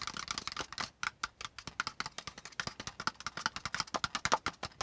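Fingertips of both hands tap rapidly in a typing-like pattern on a brown kraft cardboard folder piece lying on a notebook. About 31 quick, dry clicks come in uneven bursts, each dying away almost at once. They have a papery mid tone near 900 Hz, a bright top and almost no low end.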